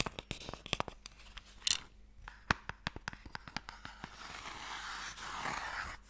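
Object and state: Wooden Mikado box tapped with fingertips and nails.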